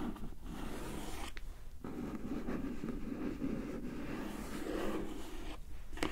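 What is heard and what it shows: Long nails tap and scratch along the top edge of a closed, hollow, glossy printed cardboard gift box. A steady, soft, papery scraping with a low, hollow body runs throughout, broken by a few short, bright taps. The taps stop quickly, with almost no ring.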